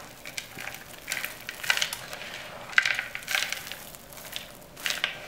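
Hands squeeze and crush handfuls of small, dry, brittle green soap shavings and crumbs in a yellow plastic bowl, working them with palms and fingers. Bursts of crisp, bright crunching and crackling swell and fade with each squeeze, with almost no low end and no ring after each crumble.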